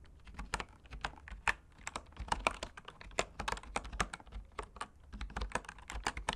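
Fingertips type continuously on bamboo wood keyboard keys. A rapid, irregular run of short, dry clicks with bright tops and a slight low thud, each stopping almost instantly, centred around 1 kHz.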